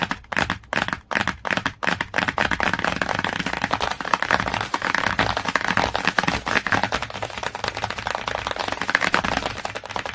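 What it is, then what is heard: Glossy hardcover book cover. Long nails tap fast on the laminated cover of a glossy cardboard hardcover book, close to the edge. A few spaced taps open the clip, then they merge into a rapid, steady stream of dry, short clicks. The sound is bright and papery, with almost no low end and no ring after each tap.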